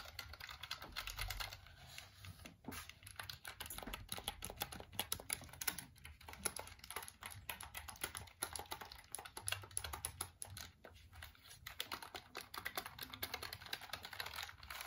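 A black plastic computer keyboard is held close and tilted at different angles while fingertips rapidly tap and press its keys. The result is a continuous stream of short, bright plastic clicks and clacks that die away almost instantly, over a faint low rumble.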